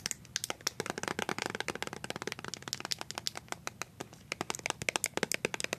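A small, filled white plastic BB cream tube is tapped and scratched with colored paper-clip nails. Rapid, dry, clicky taps mixed with light scratching come through bright and crisp, each dying away almost instantly.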